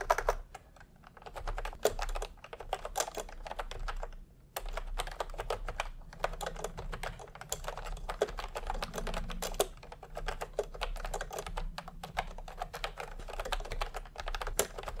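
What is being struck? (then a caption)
Plastic keyboard with round plastic keycaps. Fingertips of both hands type continuously on a full-size pastel typewriter-style keyboard with round plastic keycaps in a hollow plastic case. Rapid, clacky keystrokes with a bright edge follow one another closely, with a brief lull around four seconds, over a steady low hum.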